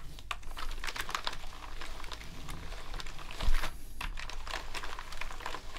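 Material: Plastic.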